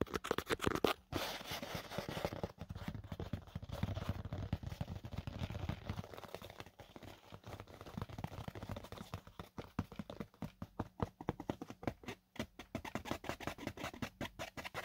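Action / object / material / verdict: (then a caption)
scrape / fabric-covered EVA foam drone case / EVA foam / none. Fingertips and short nails scratch and tap across the lid of a closed, hollow black semi-rigid drone case with a textured fabric-covered EVA foam shell. The result is a soft, dry, continuous scratching that turns into a rapid run of short, muted taps with almost no ring, weighted toward the low end.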